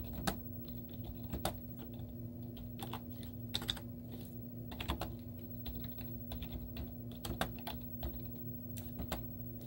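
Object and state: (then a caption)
Plastic laptop keyboard. Long teal-painted nails and fingertips type rapidly on a white plastic laptop keyboard with cartoon stickers on its hollow keys. The result is a steady stream of short, hollow clicking taps over a constant low hum.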